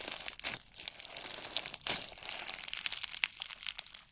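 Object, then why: Slime with plastic fishbowl beads. Yellow slime packed with plastic fishbowl beads is stretched and squeezed by hand, giving a dense run of fast, bright crackles and crunchy pops. The sound is quiet, almost entirely high-pitched with no low end, and a few sharper snaps stand out from the steady crinkling.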